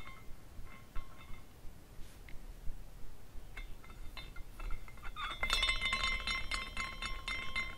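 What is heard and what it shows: A small glass carousel figurine spins, and its hanging glass horses clink against each other as it turns. Sparse, light clinks come first, then from about halfway on the tinkling grows denser and brighter, with clear ringing tones over a low, quiet background rumble.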